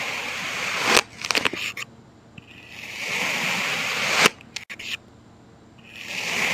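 A thin knife blade slices straight down through a solid heart-shaped mound of packed red kinetic sand on a white surface, surrounded by broken sand chunks, in parallel cuts. Each cut is a bright, hissing scrape that swells and ends in a sharp snap, followed by brief crumbly ticks and near silence before the next slice begins.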